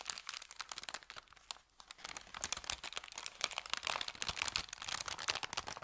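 An empty, thin kraft paper bakery bag is crinkled flat with the fingers, then lifted and handled to open and crinkle it. The result is a dense, bright, quiet crackle of sharp paper crinkles with almost no low end, pausing briefly near the middle before growing busier and slightly louder toward the end.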